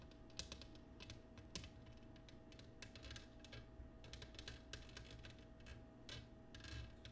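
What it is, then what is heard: Cut glass dish tapped with fingernails. Long nails tap quickly on the patterned surface of an empty, clear cut glass oval dish turned upside down on a wooden table. The result is a run of light, bright clicking taps with very short ring, heard over a faint, steady low hum.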